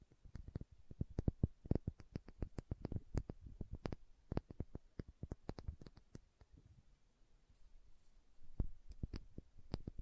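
Long nails tap and scratch a small dark green glass serum bottle with a dropper cap, making quiet, dry clicks that stop almost instantly. The taps come in quick, irregular bursts, thin out into a near-silent lull in the second half, then pick up again at the end.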